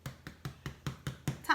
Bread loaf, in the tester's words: to see whether it sounds hollow so we hold up the bread and we tap